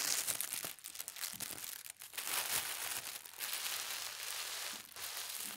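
A flat sheet of thin white tissue paper printed with gold stars is smoothed by a palm and gripped at its edges by fingertips with long red nails. It gives a steady, bright crinkling and rustling with quick crackles and no low rumble.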